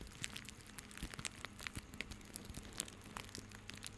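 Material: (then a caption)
Plastic. A small bundle of white plastic rope is squeezed and rubbed with the fingertips of both hands. It makes a quiet, steady stream of dry crinkling and crackling, with many short, bright ticks and snaps over a faint low hum.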